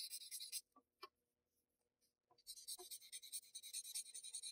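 A paper blending stump rubs the graphite-shaded areas of a flat sheet of Bristol paper in repeated strokes. There is a burst of bright, hissy rubbing, then a quieter pause with a few soft taps. The steady, high scratchy strokes then resume to the end.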